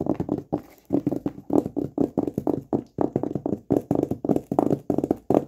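A hollow, flat rectangular cardboard gift box covered in black textured paper with a silver logo is held in both hands and tapped rapidly with the fingertips and short nails on its lid and edge. The taps come in quick bursts of dry, hollow, mid-pitched knocks separated by brief pauses, each tap dying away almost at once.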